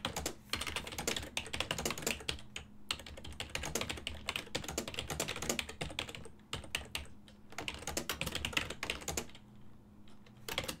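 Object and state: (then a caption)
Plastic computer keyboard being typed on. A full-size black and silver plastic ergonomic desktop keyboard with hollow key switches is tapped by fingertips while typing, giving rapid, bright, clacky keystrokes in quick bursts. The typing stops briefly at a few points, and a faint steady low hum runs underneath throughout.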